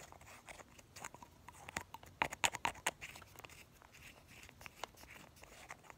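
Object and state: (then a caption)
Glass nail polish bottle with plastic cap. A small, light blue Essie glass nail polish bottle, partly full, is held in one hand while the fingertips of the other hand pump the white plastic cap and work the brush in and out of the neck. Quick, uneven, bright little clicks and glassy taps patter along over a quiet hiss. A louder, sharper cluster of clicks comes in the middle, then the sounds fade back to soft taps.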